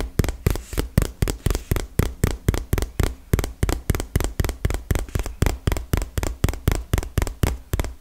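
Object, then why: Small cardboard box. Long fingernails tap rapidly on a small, hollow, printed cardboard retail box, giving 31 quick, dry taps over eight seconds. Each tap has a dull, hollow low thump with a crisp clicky edge and almost no ring, in a fast, slightly uneven rhythm.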